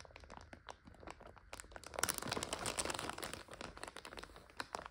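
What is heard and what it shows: Long nails scratch and tap a full plastic bag of dry egg noodles while fingers squeeze it. Quick, uneven crinkles and sharp crunchy taps build into a denser, louder stretch of rustling crackle in the middle before thinning back to scattered bright clicks.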